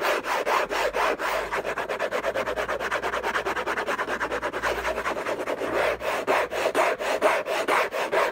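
Fingertips and nails scratch fast across a hollow, rigid orange Hermès cardboard box. Rapid, uneven rasping strokes follow one another for about eight seconds, a dry papery scrape centered in the mids around 660 Hz with little low end.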